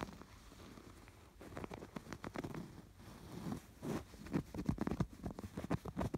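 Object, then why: Stuffed canvas pillow with yarn embroidery. Fingertips scratch the raised yarn embroidery on a stuffed canvas pillow, then move to its piped edge. The result is a soft, low, muffled rustle and crackly patter of scratches that starts quietly and grows into louder, quick bursts toward the end.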